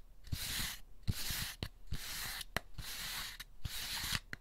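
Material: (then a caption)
Paper pulp. Fingertips rub and scratch the textured underside of an empty white molded paper pulp egg carton with hollow cups. Bursts of dry, papery scratching with a bright hiss alternate with short pauses and are dotted with soft low taps, in a loose, uneven rhythm.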